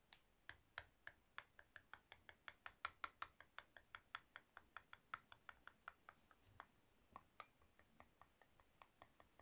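A solid pink soap bar held in the palm is scratched and carved with a metal blade tool with a purple handle, in repeated short scraping strokes. About 42 crisp, bright clicks follow one another at a steady pace over quiet near-silence. Each stroke dies away almost at once, and some carry a faint tone around 1.4 kHz.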